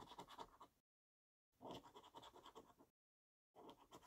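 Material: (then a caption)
Paper. A coin scratches rows of latex-covered symbols on a purple paper scratchcard held in the other hand. Three bursts of dry, rasping scraping are heard, separated by short silences, with a midrange rasp and a bright, hissy edge.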